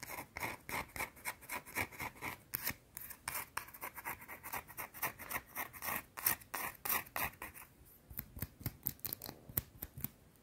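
Long dark-teal nails scratch the face and edge of a round, flat, solid white soap bar. The result is a rapid, uneven run of short, dry, bright scratching and scraping strokes with almost no ring, briefly thinning out near the end before picking back up.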